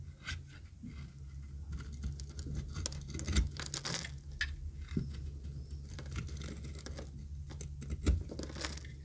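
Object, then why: Bar of soap scraped with a knife blade. A yellow-green striped bar of solid dry soap, held in a hand with long nails, is shaved and scraped with a metal utility knife blade. Brittle, crackly scraping and flaking bursts come in quick irregular strokes with bright edges, over a steady low hum. The strokes build to a few sharper, louder scrapes.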